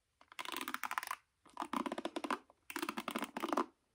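Painted nails and fingertips pluck and scratch the black nylon pins of a wooden paddle hairbrush with a yellow cushion, held face up. Four bursts of rapid, dry crackling ticks and scratches are heard, centered in the midrange with almost no low end. Each burst stops cleanly with brief silences between them.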